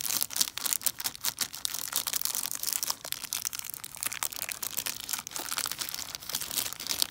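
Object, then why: Chocolate bar in a plastic wrapper. A large, flat, solid and full Buck Bar milk chocolate bar in a crinkly plastic wrapper is held in the hand and handled with long, dark-painted nails and fingertips. Dense, bright crinkling and scratching of the wrapper continues for about seven seconds, made of many quick, dry crackles with almost no low end.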